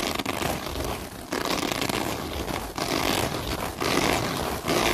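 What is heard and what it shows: Long nails with light-colored tips scratch and rub across a flat piece of black open-weave synthetic mesh fabric. The result is a dense, bright, crackly rasping that runs nearly continuously, with brief dips between strokes and a slightly louder final stretch.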